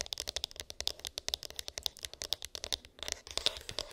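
Long pink acrylic nails rapidly tap and scratch a small, hollow white cardboard iPhone box with an embossed, textured lid and unknown contents. About 31 crisp, dry, clicky taps come in quick succession, bright and sharp with a peak near 3.6 kHz, very little low end, and no ring after each hit. Around the three-second mark the taps blur into a denser, rasping scratch before separate clicks return.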